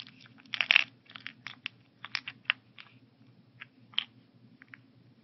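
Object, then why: Plastic weekly pill organizer with tablets inside. A translucent plastic weekly pill organizer, its compartments partly filled with tablets and capsules, is held up in the hands, tilted and shaken so the pills rattle inside. Dry, bright clicking rattles come in irregular bursts, loudest in a dense cluster near the start, then thinning into scattered short clicks over a faint low hum.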